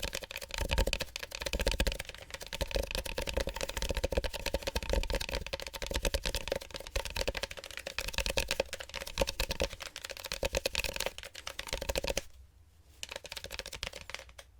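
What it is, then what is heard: Styrofoam cup being tapped. Fingertips give a styrofoam cup sticky tapping as an ASMR trigger, a dense run of quick, dry taps that barely ring. The tapping keeps up steadily, drops out briefly around 12 seconds, then resumes more quietly.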